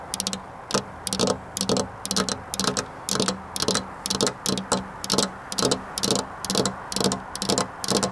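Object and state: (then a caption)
Glass window pane tapped with fingernails. Long black-polished nails tap on a flat glass window pane near a metal rail. The sound is quick, bright, clicky taps in uneven bursts that die away almost at once, over a faint low hum.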